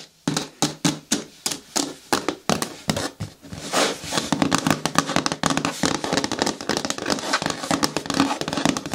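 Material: Plastic.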